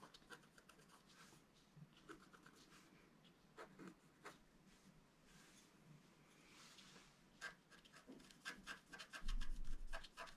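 A wooden stylus scratches a flat black-coated scratch-art card, first at the top and then at the lower right. Quiet, brief, bright scratchy strokes come in an irregular rhythm over a low background hush, growing louder and denser toward the end.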